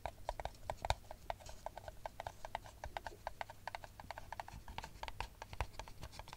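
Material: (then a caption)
Paper. Long nails tap rapidly on the bottom of an empty brown paper cup held upside down, making a quick, uneven run of short, dry clicks. Each tap has a hollow, papery knock in the upper-mid range with a bright edge, dying away almost instantly over a faint low hum.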